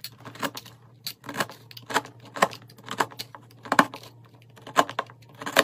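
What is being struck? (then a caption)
Bar of soap shaved with a metal knife. A metal knife shaves curls from a solid peach soap block with a yellow-pink inside, dropping them onto a pile of flakes. Each pass gives a short, crisp, bright scraping crackle with a quick dry tail, repeating in an irregular rhythm over a faint low hum. The curls keep building up on the heap of soap flakes.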